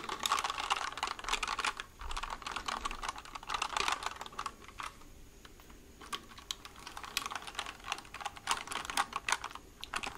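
A white plastic mechanical keyboard held near the microphone is typed on rapidly with fingertips. Dense bursts of sharp, bright key clicks are heard, pausing briefly around the middle before resuming.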